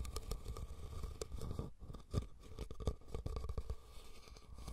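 Fingernails scratch and tap the sides of a hollow, red woven rattan cylindrical basket set over the recorder. The result is a steady run of dry crackling scratches with quick, close-miked taps, heavy in low thuds and fading fast after each touch.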